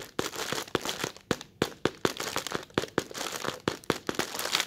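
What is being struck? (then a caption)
Thin plastic bag film. Fingertips with short red nails scratch and pinch the wrinkles of a thin, translucent plastic bag film up close, producing a dense, bright crackling and crinkling. Sharp crackles keep breaking through a steady rustle for the whole clip.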